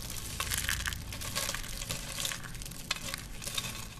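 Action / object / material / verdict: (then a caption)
scrape / soap shavings / soap / none. Curled and flat thin green dry soap shavings are held in cupped hands with grey nails, then pressed and crushed by the hands on a black surface. Dense, bright crackling and crunching runs throughout, with a low rumble underneath and small sharp pops standing out now and then.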